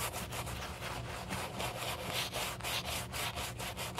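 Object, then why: Leather shoe scrubbed with a bristle brush. A black leather shoe, held in a gloved hand, has its foamy upper scrubbed with a wooden-handled horsehair brush. The result is a steady, bristly rubbing and scrubbing with bright hiss, in quick back-and-forth strokes about twice a second, over a low hum.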